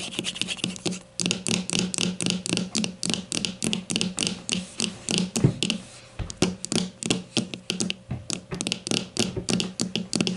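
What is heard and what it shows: A grey plastic deodorant stick lies on its side on a table, held by one hand while the other taps it with long matte nails. About 45 quick, short taps come at an uneven pace of roughly three to four per second, with a brief pause near the middle. Each tap is a bright, hollow plastic click with a low thump beneath it, and the clicks die away almost instantly.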